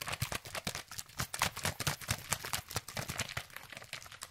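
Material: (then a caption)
Plastic. An orange, hand-sized, hollow plastic sunscreen spray bottle containing liquid is gripped in the hand and shaken quickly close to the microphone. The result is a fast, uneven run of short, bright clacks and liquid sloshes, each with a soft low thump underneath and almost no ring.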